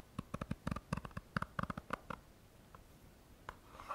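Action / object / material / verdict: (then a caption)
scrape / plastic hand cream tube / plastic / none. A small plastic squeeze tube of Balea hand cream, hollow and likely partly filled, is held in both hands and scratched along its printed surface with short fingernails. About fifteen quick, dry scratching strokes come in a rapid run over the first two seconds. A few fainter strokes follow, and a softer, longer scrape rises at the end.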